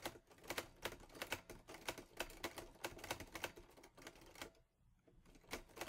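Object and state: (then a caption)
Metal portable typewriter being typed on. Fingertips type on the keys of a teal metal Olivetti Lettera 22 portable typewriter, producing a rapid run of sharp, bright clacks with very short decay. The typing pauses briefly near the end, then resumes with a few more strikes.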